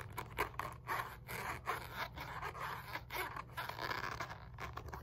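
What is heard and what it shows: Long nails scratch a black padded synthetic leather focus mitt, a leather punch mitt, across its stitched rim, inner hand pocket and face. The result is a fast run of dry, rasping scratch strokes centered in the midrange around 1 kHz, over a steady low hum.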